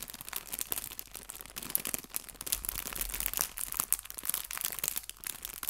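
A small clear cellophane bag full of artificial fabric leaves is tilted and crinkled with fingertips and nails. It makes a steady stream of soft, bright crinkles and sharp crackles with almost no low end, with each tiny snap dying away instantly.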